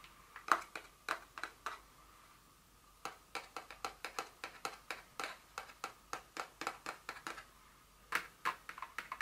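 Long nails tap and scratch the top of a small, hollow, printed paperboard Dior fragrance box lying flat. The result is bursts of quick, dry, clicky taps with a faint hollow tone, separated by two brief pauses.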